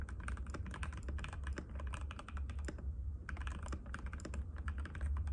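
Fingertips of both hands type rapidly and continuously on a compact cream-white mechanical keyboard with plastic keycaps and a hollow case, resting on a glass table. A steady stream of quick, clicky, clacky keystrokes plays over a constant low hum, with a brief lull around the three-second mark before the typing picks back up.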